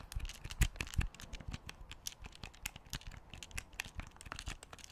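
A large black plastic Wii U gamepad with a screen is held in both hands while its buttons are clicked and its shell is tapped with fingertips. The result is a rapid, uneven stream of short, dry clicks and taps with bright ticking edges, plus a couple of louder, duller knocks near the start. Each sound stops almost instantly, with no ring.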